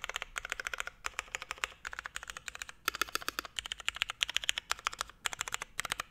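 A Forever 65 mechanical keyboard, a 65% board with a navy hollow case, Hyperglide MX Brown switches, a carbon fiber plate and grey and white ABS keycaps, is typed on with the fingertips of both hands. Bursts of short, bright, clacky keystrokes come in quick runs separated by brief pauses. Near the end, one hand withdraws and a single finger presses the keys.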